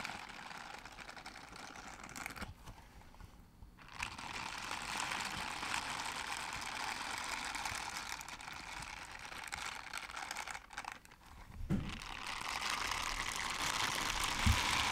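Pink silicone dishwashing gloves with bristled palms, worn on both hands, have their bristled palms and fingers rubbed and brushed against each other close up. The result is a steady, bright, dense scratching and crinkling texture, with two brief quieter pauses before the brushing resumes and grows slightly louder toward the end.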